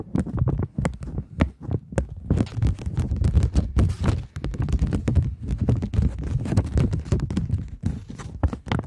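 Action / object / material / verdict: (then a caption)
tap / polymer plastic banknote / polymer plastic / none. A thin polymer £20 banknote is held in the hands and scratched and tapped with long nails. It makes a dense run of quick, dull taps and crinkly scratches with a heavy low thump, each stopping almost at once.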